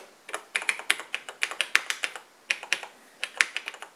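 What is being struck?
Plastic laptop keyboard.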